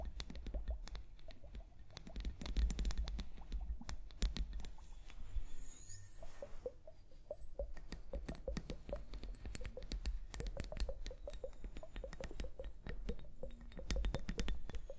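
Long painted nails tap rapidly on a small, hollow, clear plastic liquid hourglass filled with liquid and beads and held upright. The taps make quick, dry plastic clicks over a dull low thump, easing into a softer stretch midway before the rapid tapping resumes.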